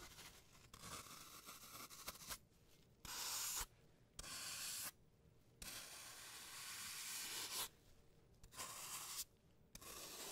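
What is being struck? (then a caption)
Green floral foam block. A hand-sized block of solid green floral foam, shaped like a brain and held in a latex-gloved hand, has its surface scraped and shaved with a flat blade tool. Bright, hissing scraping strokes come in irregular bursts, with louder, longer passes alternating with softer, quieter ones.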